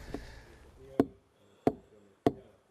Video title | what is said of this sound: MARGUS PALOLILL - Carpenter, Cabinetmaker | logs have cracks in them and this changes the sound - it sounds hollow although the log itself is decent